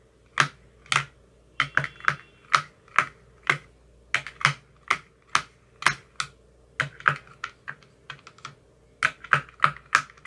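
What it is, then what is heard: Plastic ice cube tray with silicone cups. An empty clear plastic ice cube tray with green silicone cell bottoms is tapped 27 times with a thin metal rod over about ten seconds. Each tap is a short, sharp, bright click centered around 1.3 kHz that dies away almost instantly, falling in an uneven, keyboard-like rhythm over a faint low hum.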